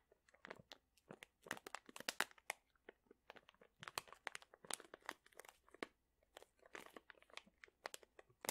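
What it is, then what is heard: Plastic bag of dried chili peppers. A medium sealed printed plastic pouch full of dried chili peppers is squeezed and crinkled with fingertips and short nails. It makes a quiet, continuous run of sharp, bright crackles and crunches in uneven bursts, with very little low end.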